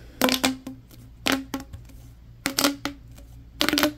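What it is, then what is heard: Corrugated plastic tube. A yellow, ribbed, hollow corrugated plastic tube, held horizontally, is bent, stretched and rubbed along its ridges by hands. The result is four short bursts of bright, rattling ridge clicks, each with a faint hollow ring low in the mid range, separated by quiet pauses.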